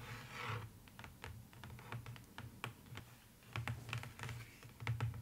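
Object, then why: Paper-lined cardboard box. Long fingernails tap rapidly, like typing, on the inside bottom of an open, empty, hollow box lined with beige polka-dot paper, likely cardboard. A brief brushing sound opens the clip, then quick, dry clicks ride on a hollow, low thump with almost no ring.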